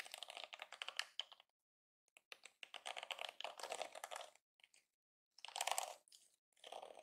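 A yellow and pink plastic detangling hairbrush is held in both hands while fingertips and nails press and flick its flexible plastic bristles. Quick, dry, bright crackling clicks come in dense bursts separated by short silent pauses, with no low-end body.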